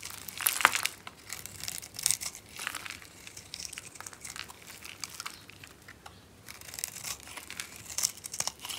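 A hand-sized, solid yellow bar of dry soap, scored into a grid and held in the palm, is scraped and carved with the metal blade of a box cutter, shedding small cubes. The result is a steady run of dry, bright crunching and crinkling scrapes with sharp crackles and almost no low end.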